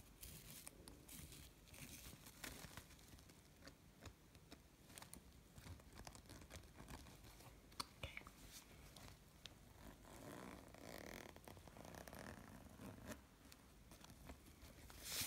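Fingers rub along the top of a small, hollow, gold snakeskin-textured faux-leather pouch and pull its metal zipper open. The result is a quiet, continuous run of dry, crinkly rubbing and scratchy zipper sounds, dotted with small bright clicks.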